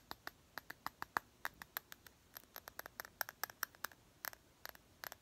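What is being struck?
Small glass perfume bottle.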